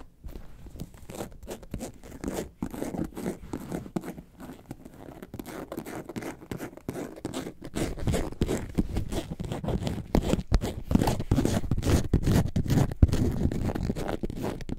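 Long nails scratch the front of a hollow, yellow, lemonade-carton-shaped faux leather bag held upright. They make a dense run of quick, dry scratching strokes with a muffled, low-heavy body and almost no bright hiss. The scratching grows louder and fuller after about eight seconds.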